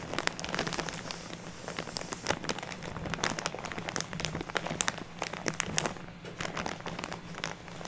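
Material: Plastic.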